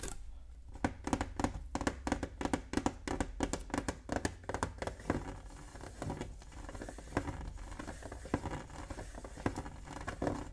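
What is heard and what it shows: Fingertips tap and scratch the lid of a closed, hollow, octagonal printed metal Pokémon tin resting on a wooden table. Quick, dry taps patter in uneven bursts over a soft scratching rustle, each tap with a short, hollow tinny knock around 285 Hz that dies away almost at once.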